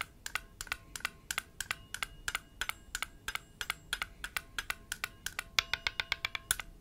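A palm-sized, blue enamel-painted hollow metal Chinese health ball rests cupped in one palm while the fingertips of the other hand, wearing rings, tap it repeatedly. About forty quick, bright, clicking taps sound in a steady, slightly uneven rhythm, each with a faint metallic ring near 3.4 kHz that dies away almost at once.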